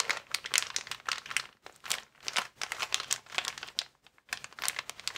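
A transparent, air-filled plastic air column cushion bag with vertical air columns is squeezed with thumbs and fingertips, producing dense, bright crinkling. Rapid bursts of crisp plastic crackle come in clusters, with brief near-silent pauses around 1.6 s and 4.1 s. There is almost no low end and no lingering ring.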